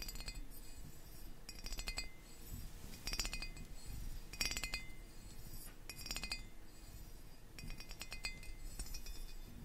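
A small gold-coloured metal pagoda ornament, held sideways in one palm near the mic, has its ribbed tiers tapped and scratched with long painted fingernails. Bursts of bright, quick metallic clicks and ticks ring only briefly over a low background rumble, coming in clustered flurries with soft scratching between them.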